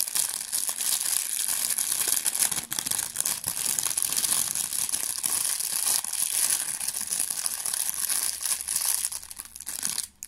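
A thin, clear, empty plastic bag is crumpled and crinkled in the fingers close to the microphone. The result is a dense, continuous crackle of bright, high rustling with rapid tiny crinkles and almost no low end, easing off at the very end.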